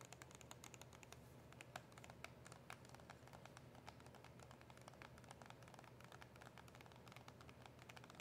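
Long acrylic nails tap rapidly and continuously on a small, hollow cardboard box of mint press-on nails with a plastic window. The taps are quiet, dense, crisp clicks with a bright edge that die away almost at once, over a steady low background hum.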